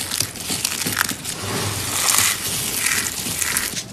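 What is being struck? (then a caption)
Soap shavings. Fingertips with long nails squeeze and crush handfuls of a pile of dry green and white soap curls and flakes from a crushed soap rose, solid brittle pieces. A steady, bright crackling crunch runs throughout, rising in bursts as the brittle pieces break apart.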